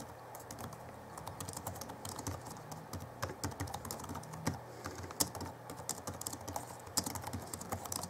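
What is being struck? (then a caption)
Plastic chiclet laptop keyboard. Both hands type with their fingertips on the backlit chiclet keyboard of a 2011 Alienware M11x2 laptop with plastic keys, making a rapid, uneven stream of light, dry key taps. The taps are soft clicks with a bright edge and almost no ring, over a faint steady low hum.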